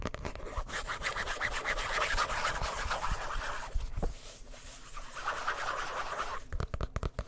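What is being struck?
Hardcover book with cardboard cover.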